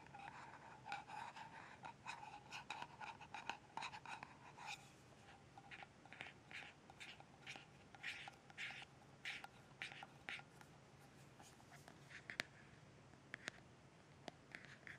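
Long red nails scratch and tap the lid and rim of a small, closed, round metal tin of balm with a screw lid and a paper label, held in the hands. Quiet, bright scratching strokes mix with many light, dry taps and clicks that stop almost instantly, without ringing.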